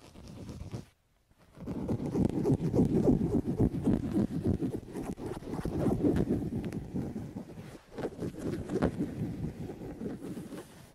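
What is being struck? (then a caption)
Woven linen curtain. Fingertips and nails scratch and rub a large beige woven linen curtain hanging at a window. The result is a dense, rapid, soft fabric scratching and rustling, concentrated in the low and mid range. It pauses briefly near the start and dips again shortly before the end.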